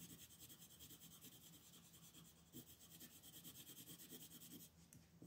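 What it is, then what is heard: Pencil shading on paper. A red wooden colored pencil shades in the shell on a flat white paper coloring sheet lying on a table. Quick back-and-forth strokes make a steady, soft rubbing and scratching sound with a bright, papery hiss. The strokes repeat in a loose rhythm throughout.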